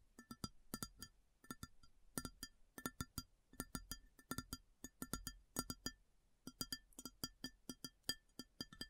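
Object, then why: Ceramic plate. Long fingernails tap rapidly on a large, empty, round white ceramic plate in quick rhythmic clusters. Each tap is a sharp, bright click with a short, clear ringing tone over a soft low knock, and it dies away almost at once. The result is a steady, crisp patter of dozens of distinct taps.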